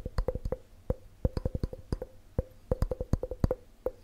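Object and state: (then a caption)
Glass measuring cup. A clear, hollow, empty glass measuring cup with red markings is held close and tapped quickly with fingertips and nails. The result is a rapid, irregular run of short, dull knocks, each with a brief glassy ring near 500 Hz that fades almost at once.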